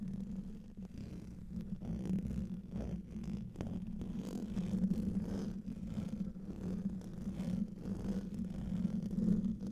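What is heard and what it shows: A hollow metal mesh microphone grille is scratched with the nails of both hands while rings are worn. The result is a continuous, close, muffled scratching and rubbing with a deep rumbling body and a steady low hum, broken by occasional faint clicks.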